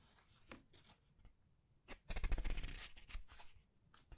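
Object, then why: Paper pages of a large book. Fingers with red-painted nails turn and rub the paper pages of a large art book. Soft, scattered rustles give way to a louder, dense stretch of crisp, bright paper crackling in the middle, then fade to light brushing. The sound is quiet and dry.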